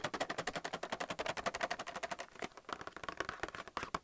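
Fingernails rapidly tap a clear plastic blister holding white plastic paint palettes on a cardboard card, held in the hand. The result is a fast run of crisp, bright, hollow plastic clicks that die away instantly. The steady rhythm turns sparser and more irregular in the second half.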